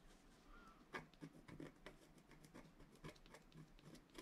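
A wooden stylus scratches quick, short strokes into the upper right area of a flat scratch art card, a black-coated paper board. The result is a soft, irregular run of dry, brief scratching sounds with bright, papery texture and no ringing.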